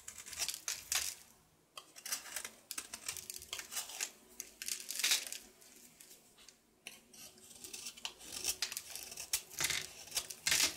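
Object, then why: Soap bar shaved with a knife. A painted solid bar of soap is held in the hand and shaved with a knife, revealing the blue soap underneath. Bright, dry scraping and crisp crumbly rasps come in rapid strokes, broken by brief quiet pauses. There is almost no low end.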